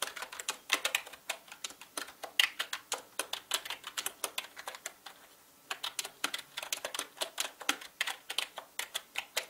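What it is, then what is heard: Plastic mechanical keyboard. Fingertips type fast on a full-size black mechanical gaming keyboard with plastic keycaps and a hollow body. Dozens of sharp, bright, clicky keystrokes come in quick bursts, with a brief pause partway through. The clicks are dry and short, with almost no low end.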